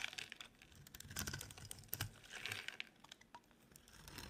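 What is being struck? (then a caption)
Bar of soap. A utility knife blade scrapes a dry, solid, cream-colored rectangular bar of soap held in the hand. The sound is quiet, dense, bright crackly crunching and shaving with a faint low thud under the stronger strokes. Each scrape stops dead with no ring.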